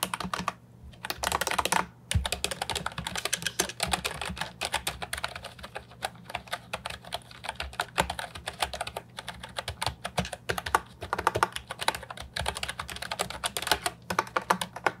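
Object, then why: Plastic mechanical keyboard with round keycaps. A retro-style Ajazz 308I plastic mechanical keyboard, brown and white with round typewriter-style keycaps and a hollow body, sits on a wooden desk while both hands type on the keys with fingertips. Rapid, dense clicky keystrokes continue for fifteen seconds with short, dry attacks, a bright clack and a low hollow undertone. Brief pauses come just before the 1-second mark and near the 2-second mark.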